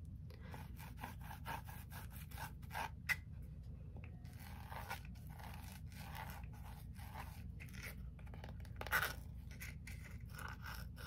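Long nails and fingertips tap and scratch the lid and sides of a small closed red brocade fabric-covered gift box with a brass latch, held in the hands. Quiet, rapid, dry scratching strokes with soft taps repeat throughout over a steady low hum, with a couple of sharper, brighter clicks standing out near the third and ninth seconds.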